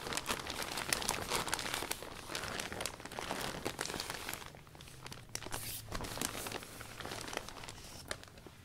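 A blue cloth rubs the thin plastic of an open iridescent vinyl umbrella canopy from the inside, wiping down the new umbrella. The result is dense, continuous crinkly rubbing and crackling with bright, sharp crackles over a softer rustle, easing slightly in the middle before picking up again.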